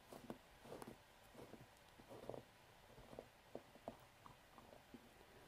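Fingertips grip a medium white plastic Syoss jar filled with hair cream, unscrew its wide black plastic screw lid, lift it off and screw it back on. Quiet, dry plastic scrapes and short clicks of the lid threads come in uneven bursts over a low background hiss.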